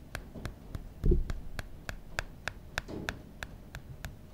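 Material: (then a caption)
Aluminum. A fingertip taps and rubs the aluminum back of the original iPhone near the camera, making a steady, evenly spaced series of light, bright ticks. A louder, low scuff of rubbing comes just after one second, and a softer rub follows around three seconds.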